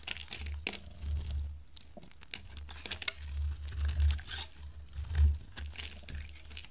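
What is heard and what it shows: A solid, dry green bar of soap held in the hand is scraped and carved into curls with a metal knife blade. Crisp, crinkling scrapes and short, bright scratches repeat over a heavy low rumble, swelling and fading in uneven bursts throughout.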